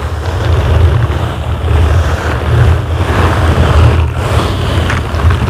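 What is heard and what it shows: Purple and green silicone bristle gloves slowly scratch and rub down the sides and top of a dark grey foam microphone windscreen. The result is a steady, muffled, bassy rumble with a soft scratchy texture and almost no high end, swelling and easing slightly as the rubbing continues.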